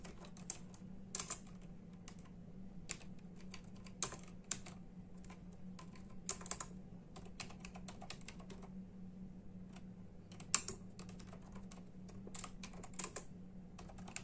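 Bare fingertips of both hands tap sparsely on a full-size black and silver plastic membrane keyboard with hollow keys. The clip holds short, bright, hollow clicks with no lingering ring, scattered irregularly over a quiet, steady low hum.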